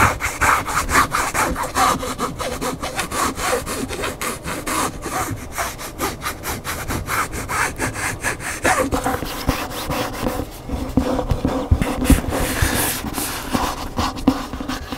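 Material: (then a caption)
Paper, board. Fingernails scratch rapidly up and down the spine and cover edge of a large upright hardcover cookbook, then fingers grip and rub its glossy back cover. The scratching makes a steady run of quick, uneven rasping strokes with a dry, papery texture across the whole clip. Toward the end, the rubbing turns brighter and more hissing.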